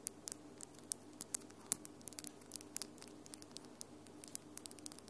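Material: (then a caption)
Acrylic. Long glitter acrylic nails on one hand tap against the nails of the other hand. A quick, irregular run of quiet, sharp clicks sounds bright and dry, each dying away almost instantly over a faint steady hum.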